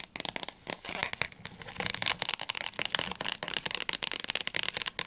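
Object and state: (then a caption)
Paperback dictionary. Long nails rapidly tap and scratch the cover and edges of a thick blue paperback dictionary. The result is a dense run of bright, dry clicks and papery scratching, concentrated in the high frequencies with almost no low end and no ring after each tap.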